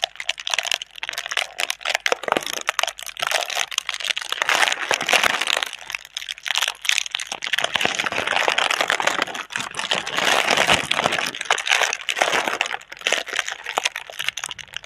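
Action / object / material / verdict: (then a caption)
scrape / plastic air-cushion packaging / plastic / none. A clear plastic air-cushion packaging tube with green print, hollow and filled with air, is held in both hands while long red nails rub, crinkle and scratch across it. The result is a steady stream of dense, bright crinkling and crackling with sharp scratchy ticks and no low end, continuing without pause throughout.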